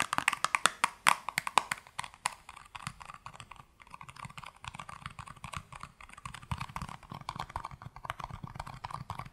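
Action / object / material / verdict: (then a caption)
tap / small cardboard box / cardboard / none. A small, hollow, yellow printed cardboard soap box held in the hands is tapped with long nails. Rapid, dry clicking taps centered around 1 kHz with bright edges start loud and sharp, then settle into a softer, denser patter of quick light taps that lifts again toward the end.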